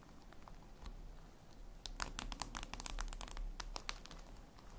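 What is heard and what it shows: Long red nails tap and scratch a flat, glossy black reflective glass surface, likely a tablet screen. Soft, quiet scratching comes first, then an irregular, fairly quick run of sharp, bright clicking taps with very short decay.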